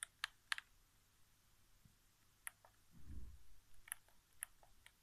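Fingertips tap the thumbsticks and center area of a hollow white plastic PS4 game controller resting on carpet. Seven sharp, bright, quiet clicks arrive at irregular intervals, with a soft low rumble in the middle.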